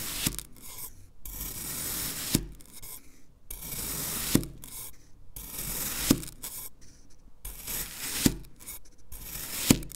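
A black knife blade, held by hand, repeatedly cuts down into and drags through a solid, hand-sized green kinetic sand fish mold. Each stroke gives a soft, bright, broadband rasping scrape, punctuated about every two seconds by a sharp, short tap as the blade strikes down, with brief quiet gaps between strokes.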